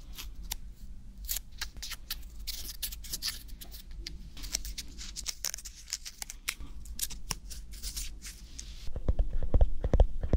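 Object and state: Tomato scratched and tapped.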